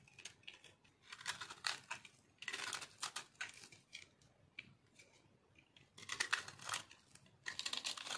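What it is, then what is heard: Dry soap being scraped with a blade. A fist-sized, solid, white, crumbly chunk of dry bar soap is held in one hand over a pile of soap shavings and scraped and carved with a small metal blade. Bursts of dry, bright crunching and scratching come as crunchy flakes shave off, separated by short quiet gaps. The sound is mostly high-pitched, with almost no low end.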